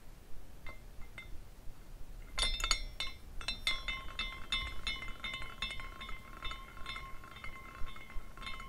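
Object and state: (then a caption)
Glass carousel figurine with tinkling glass pieces. Fingers spin a small clear glass carousel figurine by its top spire, and its dangling glass horses knock and tinkle against each other. A few sparse, bright clinks give way to a denser run of irregular glassy taps with short rings. A steady ringing tone near 1 kHz holds underneath from about the midpoint on.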